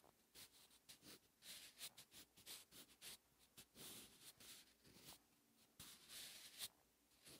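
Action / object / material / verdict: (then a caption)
scrape / graphite pencil on a thin paper notebook page / paper / none. A wooden 8B graphite pencil tip scratches across a thin lined notebook page lying flat, writing Korean characters on the same page throughout. The sound is a quiet run of short, bright, dry scratching strokes with brief pauses between them and almost no low end.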